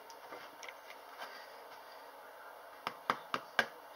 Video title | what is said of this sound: How To Make Bread (vlog ep 31) | if it's Hollow it means it's cooked